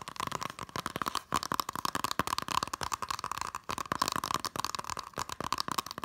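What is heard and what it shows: Fingernails tap rapidly along the edge of a small, hollow green Totoro Blu-ray case with a cardboard slipcover, then fingertips tap across its front. The result is a quick, dry stream of short clicks and crinkly taps over a steady tone near 1 kHz.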